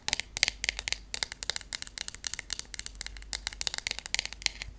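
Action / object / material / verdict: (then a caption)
tap / wooden hairbrush / wood / none. Long acrylic nails tap rapidly on the wooden handle and back of a wooden hairbrush with wooden pins. The result is a quick, irregular run of sharp, bright clicks that die away almost instantly, with very little low end.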